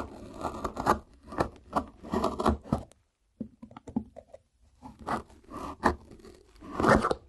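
A small knife tip scrapes and cuts along the brown paper tape on the top edge of a hollow white corrugated cardboard shipping box. Rasping, scratchy strokes come in bursts, then fall silent briefly before a run of quieter ticks and scratches. Louder scraping follows, ending in a final rough rasp.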